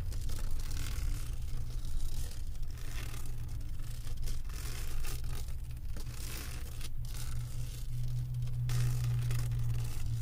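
Long acrylic nails scratch across the resin drills of a flat diamond painting on a canvas board, making a steady, dense scraping and rustling. The texture carries a strong low rumble underneath, with the level rising and dipping slightly as the nails move over the beads.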